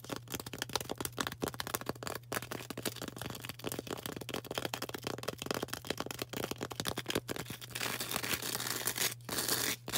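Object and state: Floral foam block tapped and scratched.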